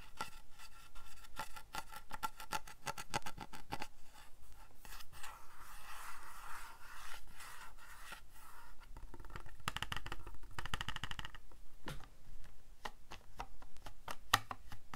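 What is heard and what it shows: Fingernails scratch and tap the hollow back of a white plastic calculator casing, making dry, quick clicks and raspy scraping with almost no ring. The light, papery texture continues throughout, with a faint tonal edge around 1.2 kHz.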